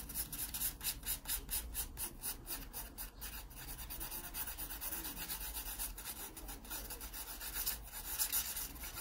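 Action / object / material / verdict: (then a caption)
scrape / graphite pencil on a paper sketchbook page / paper / none. A graphite pencil makes fast back-and-forth shading strokes across an open paper sketchbook page. The result is a steady, bright, raspy rubbing with a quick rhythmic pulse over a faint low hum.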